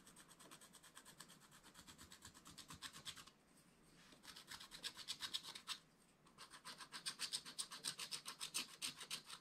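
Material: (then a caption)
Coated paper. A wooden stylus scratches a flat, black wax-coated scratch-art paper page in quick back-and-forth strokes, about four per second. Roughly forty dry, bright, hissy scratches come in three bursts, separated by two brief quiet pauses. Each stroke stops sharply with no ring.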